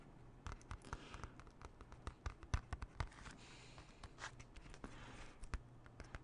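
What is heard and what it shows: A closed, small, hollow hard plastic CD jewel case is held in the hands and scratched and tapped with fingernails. Quick, irregular clicky taps with no ring mix with soft scratchy rustling between them, all at a low, close-up level.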